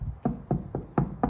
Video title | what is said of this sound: 1968 Pontiac tempest update and new house tour | That does not sound like metal. This piece is so weak.